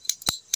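The CNC-made T7 aluminum multi-shot swing part of a bullpup PCP rifle is sounded, giving three quick, bright metallic clicks with almost no ring. The middle click is the fullest, and the part sounds different from the T6 version.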